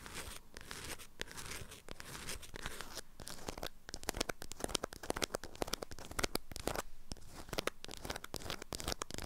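A wrapped item in an orange-print beeswax-coated fabric food wrap is turned in the hands while long nails scratch and crinkle the stiff waxed fabric. The sound is a dense, continuous stream of dry crackles, sharp clicks and tearing-like rasps over a low background rumble, growing slightly busier and louder toward the middle and end.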